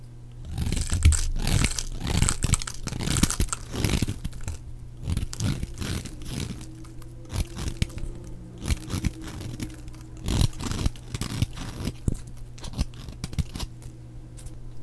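A flat utility-knife blade shaves and scrapes thin curls off the edge of a cream-colored bar of dry soap held in one hand, with the shavings falling away. Dense, dry crunching and scraping strokes come in quick succession over a steady low hum, loudest in the first few seconds and softer after that.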